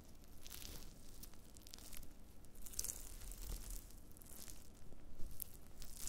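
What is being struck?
Dried wood ear mushroom pieces.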